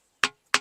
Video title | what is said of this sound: ఈ గుహలో నుంచి అమ్మాయి అరుపులు వినిపిస్తున్నాయి ఆమె రక్తపు వేలిముద్రలు అలానే ఉన్నాయి -- musical rocks | ఇది డల్ అనమాట, దీన్ని ఏం సౌండ్ రావట్లే